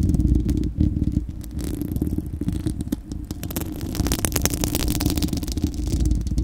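Long acrylic nails of both hands scratch the bare, hollow, fist-sized spherical steel wire-mesh grille of a microphone. The close, heavy scratching comes through as a deep, booming rumble, with rapid crackly ticks scattered over it. It eases slightly in the middle and then grows louder and brighter toward the end.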